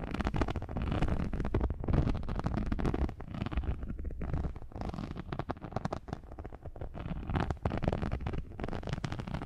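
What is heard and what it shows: Long nails scratch and tap the surface of a thin, textured non-slip rubber or silicone sheet held in front of the microphones. The result is a dense, continuous stream of crackly, rumbling scrapes and taps that is heavy in the low end, with little high sound and steady loudness throughout.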